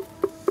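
Two taps on a black granite block, away from its edge, each a short, dull knock with a low pitch and almost no ring. The block sounds solid at this spot, unlike the hollow sound found only around the edge.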